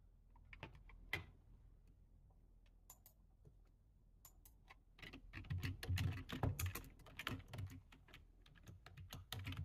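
Fingertips of both hands type quickly on a low-profile plastic computer keyboard. Sparse, soft key clicks at first give way to a dense, louder flurry of fast keystrokes from about 5 to 7 seconds, then ease and pick up again at the end. Each tap has a short, dull low thud with a brief bright click.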